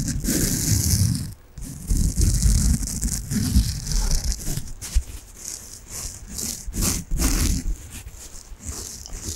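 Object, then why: Foam bath sponge. A peach foam bath sponge with a string loop is rubbed and scratched with fingertips and long nails. The result is a steady, uneven scratchy rustle with a bright hiss on top and a dull low rumble beneath, with a brief pause near the start.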